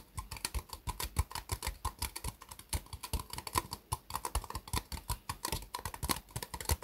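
Long fingernails tap rapidly on the sides of a small, hollow, empty white ribbed disposable plastic cup set upside down on a mousepad. The result is a quick, uneven stream of dry, clicky taps, each with a brief hollow ring and a soft low thump that dies away almost at once.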